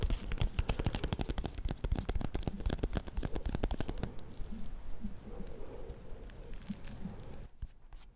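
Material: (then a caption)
Paper. Fingernails tap and scratch on a small solid bar of soap in a white paper wrapper held close to the mic. A fast, uneven run of dull, deep taps fills the first half, then gives way to softer papery scratching and occasional light taps that fade out at the end.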